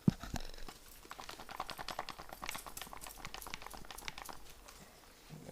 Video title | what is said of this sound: Airsoft :Review / Présentation GHK G5 / Infos pratiques sur la replique (version longue) | C'est le chargeur qui fait un peu de bruit, mais vous voyez... C'est vraiment bien fait, quoi.